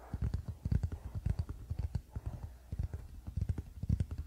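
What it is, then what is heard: Wooden paddle hairbrush. Fingertips of both hands tap quickly on the solid wooden back of a wooden paddle hairbrush lying flat on a blanket. The result is a fast, uneven patter of soft, dull, low thuds with almost no high end and no ring after each tap.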